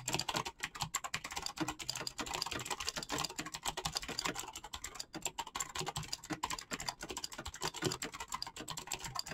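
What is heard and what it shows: A black mechanical keyboard with clicky switches and PBT plastic keycaps is typed on quickly with the fingertips. It makes a dense, continuous run of sharp, bright clicks and clacks. Each keystroke is short and dry and dies away almost at once.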